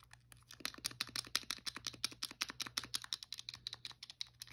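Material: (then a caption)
Plastic. A blue, hollow plastic Wii controller is held in one hand while a thumb and fingernails tap and click its buttons and front casing. The result is a quick, uneven run of sharp, bright, dry plastic clicks with no ring, over a faint low hum.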